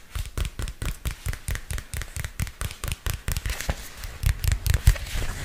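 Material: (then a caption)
Plastic. Fingernails tap a purple spiral-bound notebook with a textured plastic cover held close to the mic, giving a steady run of about two dozen short, dull taps. Each tap is a deep, quickly damped thump with a faint crisp click on top, and the last second grows slightly louder and denser.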